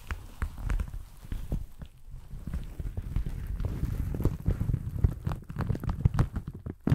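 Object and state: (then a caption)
Leather jacket being crumpled and rubbed. A blue leather jacket is bunched up in the hands right at the mic, crumpled and rubbed with fingers and nails. Close, dense crinkling and soft scratching form a steady run of short, dull taps and rustles, weighted heavily toward the low end with quick bright flicks on top.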